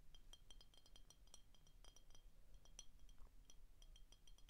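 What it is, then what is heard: Glass bottle. Short painted fingernails tap the neck and shoulder of an empty, hollow clear glass Frostie root beer bottle with a paper label. The result is a quick, irregular run of bright, brief glassy clinks with a ringing tone near 3 kHz, heard over a steady low hum.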